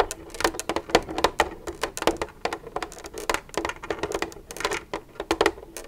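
Long red nails tap and scratch the side of an empty, hollow white plastic milk jug with a green cap, lying on its side. Quick, dry clicks with a hollow mid-range tone come in uneven bursts, with brief scratchy rustles between them. Each tap dies almost at once, and nothing low or booming rings under them.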